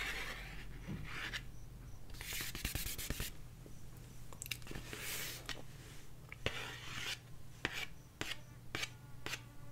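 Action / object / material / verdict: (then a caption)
scrape / cardboard LP record sleeve / cardboard / none. Long nails scratch and trace along the top edge and front face of a 12-inch cardboard vinyl record sleeve (LP jacket). The result is bursts of dry, bright rasping strokes broken up by short sharp clicks, over a steady low hum.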